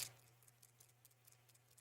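An acrylic paint marker is shaken, as its instructions say, so the little mixing ball inside rattles. The ball makes a quiet series of light, bright ticking clicks over a steady low hum.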